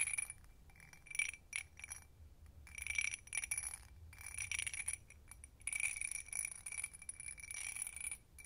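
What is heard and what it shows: An empty hobnail-textured glass tumbler is tapped on its rim and sides with long nails, giving quick bursts of bright, chime-like ringing. The taps come in fast clusters with short pauses between them, and each ring is short, centered on a high tone near 2.3 kHz.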